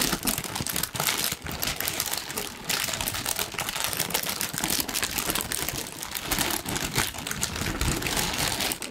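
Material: Paper.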